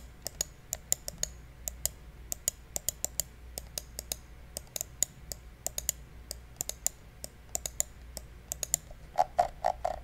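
Fingertips repeatedly click the buttons of a small, hollow, black plastic gaming mouse held in the hands, producing about 41 sharp, bright, dry clicks over a faint low hum. The clicks come in an uneven rhythm, then bunch into a faster, louder burst at the very end.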